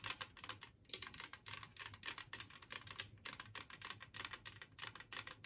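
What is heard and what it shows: Long fingernails of both hands rapidly tap a large glazed ceramic Christmas tree-shaped serving plate lying empty on a table. Dozens of crisp, bright, high-pitched clicks come in quick irregular bursts, each dying away almost instantly, with little low end.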